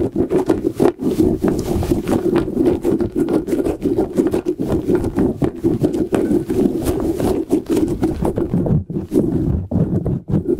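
Fingertips and short nails tap and scratch the surface of a hand-sized, soft rubber light-up squishy puffer ball with rubbery tentacles and an LED inside, held in front of the mic, and flick its tentacles. The result is a dense, fast run of soft, muffled rubbery taps and scratchy rustles, centered low-mid around 355 Hz with little high content. Each tap dies away almost instantly.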